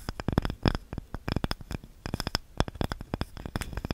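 A small, light, solid wooden cutting board with a handle is scratched and tapped with long nails. The result is a rapid, irregular run of short, dry clicks and taps with a low thump under each, mixed with faint scraping between them.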